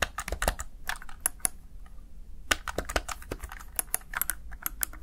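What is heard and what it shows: Fingertips press the keys of a Razer Tartarus Chroma plastic gaming keypad in quick typing, producing a run of short, dry, bright clicks with no ring. The taps come in irregular bursts, briefly pausing near the middle before resuming, over a faint steady low hum.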